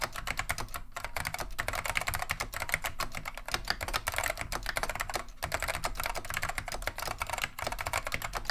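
A full-size beige plastic Wang 725 mechanical keyboard with Alps switches, solid and heavy on a wooden desk, is typed on by both hands with the fingertips. It gives a steady stream of quick, sharp clacky key presses with bright clicks and a low thud under each stroke, broken by a few brief pauses.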